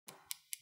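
Fingernails painted with nail polish are tapped five minutes after the top coat to show the polish is completely dry and hard. Three sharp, bright clicks ring out with almost no tail, and the polish stays perfect with no smudging.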